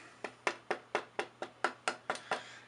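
An ebony wood fingerboard blank is tapped ten times in an even rhythm, each tap giving a bright, woody knock centred around the midrange. The dense ebony gives a good tap tone, making this a good fingerboard.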